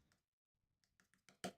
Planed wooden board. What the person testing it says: I can feel that I'm lifting here. Hear that? That's hollow.